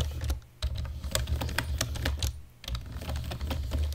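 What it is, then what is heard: Plastic computer keyboard being typed on. Fast typing with the fingertips and nails of both hands on a black plastic computer keyboard produces a rapid, steady stream of short clacks. Each keystroke has a dull low thump with a bright tick on top, and the typing briefly pauses twice before resuming.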